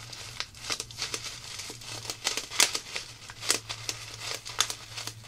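A small clear plastic zip-lock bag of colorful styrofoam foam beads is squeezed and crinkled by fingertips with long black nails. The result is a steady stream of bright, crisp crinkles and sharp crackling snaps that die away almost instantly, over a faint low hum.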